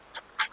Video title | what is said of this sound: బియ్యం పిండితో కారపూస -- కార సుట్లు-- #kethireddyvlogsnalgonda #cookingchannelintelugu #food #snakes | ఇలా కొడితే గలగల సౌండ్ వస్తుంది చూడండి అట్లా కాలినట్టు లెక్క